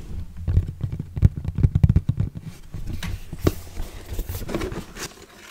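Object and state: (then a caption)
Cardboard box tapped. Fingertips and nails tap the flat surface and sides of a hollow orange Kodak cardboard box held close, giving quick, dull, low thuds. The taps come in dense bursts early on, then give way to softer scratchy brushing with a few brighter clicks.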